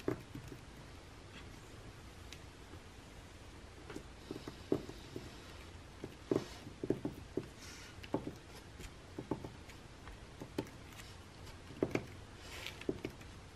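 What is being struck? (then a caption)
Glossy paper magazine pages. Fingertips and nails rub and scratch the pages of an open glossy paper magazine lying flat on a table. Soft, quiet scraping and papery rustling are broken by short, dry clicks and scratches. Each stops almost instantly against a faint background hiss.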